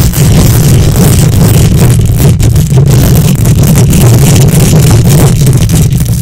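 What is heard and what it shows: Long nails scratch the hollow metal mesh grille of a silver condenser microphone with both hands. The result is a loud, steady, dense rumbling scrape, heavy in the low end with only a faint bright hiss on top, running continuously without clear breaks.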